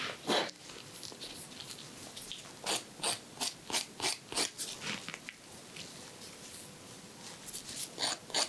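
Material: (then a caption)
Emery board. A white emery board rasps across the edge of a fingernail on a finger held in a hand. Short, dry, bright scratching strokes come in a loose rhythm, mostly high-pitched with almost no low end. Each stroke dies away quickly into near silence.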